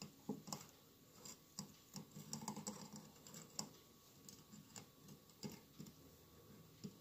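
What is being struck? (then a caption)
Glass mosaic votive candle holder. Fingertips and nails tap the tiles of a hollow glass mosaic candle holder with a lit candle inside. The result is a quiet, irregular patter of short, light clicks, each with a soft low body and a bright, glassy tick that dies away almost at once.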